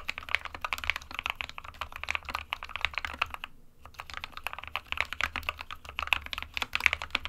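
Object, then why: Plastic mechanical keyboard. A small 60% SK61 mechanical keyboard with a white plastic case and plastic keycaps, resting on a printed desk mat, is typed on quickly with the fingertips of both hands. Dense, bright, clicky key taps run continuously with only a brief pause near the middle, and each tap is short and dry with a faint low thump underneath.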